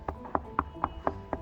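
Six quick knocks on a thick tempered glass railing panel, about 12 inches tall, that sits on top of a rooftop wall. Each knock is a short, dull thud with a midrange tone around 800 Hz that dies away almost at once. The sound suggests the glass is quite thick.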